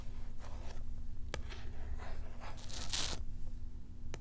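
A cat toy in a small cardboard card with a clear plastic blister pack is held in hand while long nails scratch and tap across the card and blister. Soft, dry scraping and crinkling sounds are broken by a few sharp, bright clicks over a steady low hum. The loudest scratch swells near the end before a final tap.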